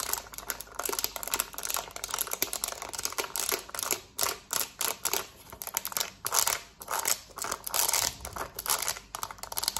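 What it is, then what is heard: Plastic TV remote tapped with nails. Long nails tap rapidly on the rubber buttons of a black plastic TV remote. The result is a dense, fast stream of dry, bright clicks and crinkly ticks with almost no low end. Each tap dies away almost instantly, and the tapping comes in bursts with brief dips between them.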